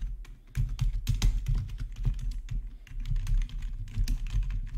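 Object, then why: Plastic computer keyboard. Fingertips type on a black plastic RGB backlit gaming keyboard, with some single key presses made by the right index finger. The keystrokes come as a dense run of short, muffled taps with deep thumping bodies and brief bright clicks on top, each dying away almost at once.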